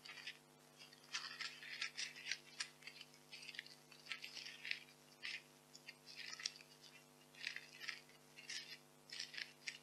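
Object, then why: Expanded polystyrene packing peanuts. White expanded polystyrene packing peanuts are squeezed and rubbed in both hands with long nails above a pile of peanuts. The result is bursts of bright, squeaky, crunchy creaking that come and go in uneven clusters over a faint, steady low hum.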